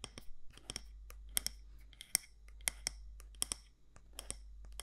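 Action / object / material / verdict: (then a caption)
tap / glass candle jar with metal lid / glass / none. Long nails tap the side walls of a medium matte black candle jar with a gold lid, likely glass or ceramic. The result is a quick, irregular series of sharp, bright clicks that die away almost instantly over a faint, steady low hum.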